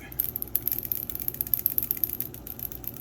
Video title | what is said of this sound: Mr Color pre mixing tutorial Lets mix red paints today ! | now you can hear that bead in there